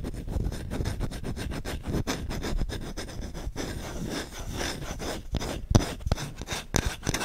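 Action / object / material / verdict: scrape / wooden spoon / wood / none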